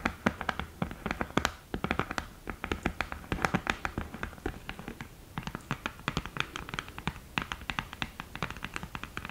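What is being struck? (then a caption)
Cardboard eyeshadow palette with mirror lid. Long green nails tap quickly and scratch on the lid top and mirror of an open, thin, hollow cardboard eyeshadow palette. A rapid run of short, sharp clicks with a dry scratching texture, each tap dying away almost instantly with no ring.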